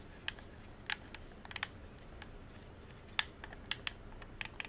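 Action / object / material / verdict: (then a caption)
tap / plastic game controller / plastic / none. A hollow dark blue plastic game controller is held in both hands while thumbs and fingertips click its buttons and sticks. Eleven short, sharp, bright plastic clicks come in uneven bursts over a faint low hiss. Each click dies away almost instantly.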